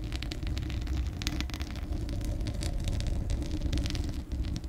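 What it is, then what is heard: Metal mesh microphone grille being scratched. Long acrylic nails scratch and tap the bare, hollow steel mesh grille of a large condenser microphone. A steady low rumble underlies rapid, crackly bursts of bright scratching that come and go across the clip.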